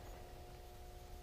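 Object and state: Nothing is struck.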